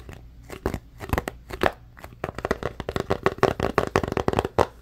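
Fingertips and nails scratch and tap the sides of a small, hollow white cardboard phone box. Short, dry taps and scratchy brushes come in a quick, irregular series with a hollow midrange tone around 400 Hz. They are sparse at first, then grow denser and louder in the second half.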